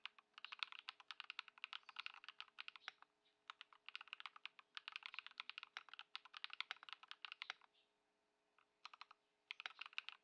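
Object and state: Plastic mechanical keyboard being typed on.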